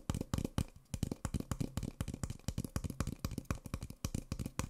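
An empty, small, hollow white Nespresso paper coffee cup is held in one hand and tapped along its printed side with the fingertips and short nails of the other hand. A rapid, uneven run of dry, hollow, low thumps is heard, each dying away almost at once, with lighter clicking where the nails strike.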